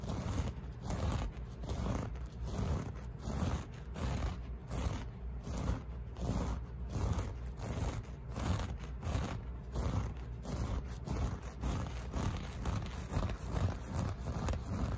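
Fingernails scratch back and forth across the loops of a flat beige loop-pile carpet piece, a solid textile. The result is a steady run of soft, rough, scraping strokes with a dull low-heavy texture and little brightness, rising and falling in an uneven rhythm.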